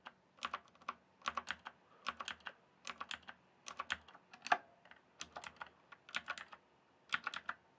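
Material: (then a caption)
Plastic. A full-size RGB-backlit plastic mechanical computer keyboard, with hollow keys on a solid base, is typed and tapped with fingertips. Quick bursts of sharp, bright, clacky keystrokes die away almost instantly, with short pauses between clusters against a quiet background.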